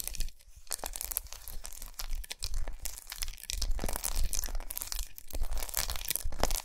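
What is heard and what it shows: Long nails tap and scratch across a large, unwrapped, solid segmented milk chocolate bar with raised squares, resting on a towel. A dense stream of quick, dry, crunchy scratches and crisp taps alternates with brief quiet pauses, with bright crackle on top and a soft low thump underneath.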